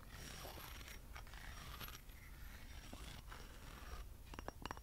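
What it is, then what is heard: Metal acorn candle holder. A small hollow metal acorn candle holder with a lattice pattern is held in both hands and scratched and tapped with fingernails. Soft, steady scratching and scraping runs over a low background rumble, followed by a cluster of short, bright metallic taps near the end.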